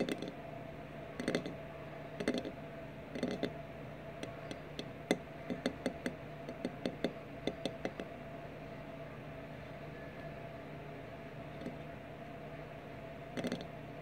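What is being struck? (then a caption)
Glass liqueur bottle. Fingertips and nails tap along the top of a mid-size, hollow white opaque glass RumChata liqueur bottle lying on its side on a wooden table. The result is a quiet series of short, clicky glassy taps, some in quick flurries, each dying almost at once over a steady low background hum.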